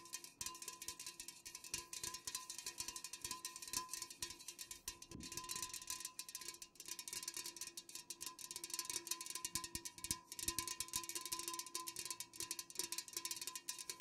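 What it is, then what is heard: Unopened metal cans tapped with fingernails. Fingernails tap quickly on full, unopened metal cans, making a dense run of short, bright, resonant metallic clicks. The taps stay steady and soft throughout, with a faint tone lingering under them.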